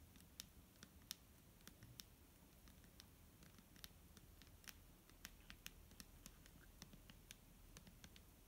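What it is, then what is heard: Plastic bottle of liquid tapped with nails. Long nails tap and scratch the front of a large, clear plastic micellar water bottle, full of liquid and held in hand. Sharp, bright clicks and taps sound irregularly over a steady low background hum. Each tap is quiet and dies away almost instantly.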